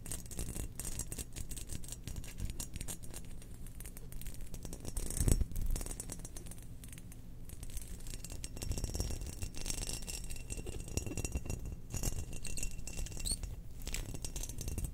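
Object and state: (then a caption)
Ceramic cookie jar. A spherical, hollow, glazed cream ceramic Death Star cookie jar with an etched black pattern and its lid on is held in the hands and scratched with long nails. The result is a dense, continuous rasping scratch with a heavy low-end body and short, dry strokes that don't ring, holding a steady level with a brief louder swell around the five-second mark.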